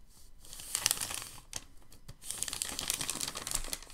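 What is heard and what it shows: A hand lifts and folds a thin white packing paper sheet, then fingertips press it flat. Bright, crisp crinkling rises to a burst of sharp crackles, eases into a quieter patch of rubbing, then returns as a steady run of dense crinkle and rub to the end.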